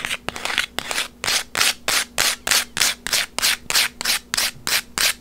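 Long white acrylic nails scratch and rub a small, flat instant photo made of paper and plastic, with a white frame and a gold textured image, held in the hands. The result is a steady rhythm of short, bright, scratchy rubbing strokes, about three per second, each dying out quickly with almost no low end.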